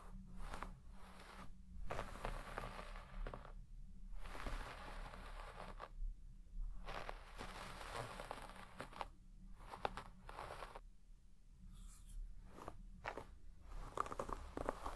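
A wooden hairbrush with wooden pins scratches and brushes through the fibres of a large red shaggy textile carpet with deep pile. Repeated bursts of dry, crinkly rustling and scratching strokes are separated by short quiet gaps, over a steady low hum.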